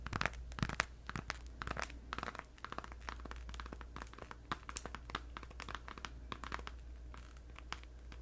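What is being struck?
Gum pack in thin plastic wrapper.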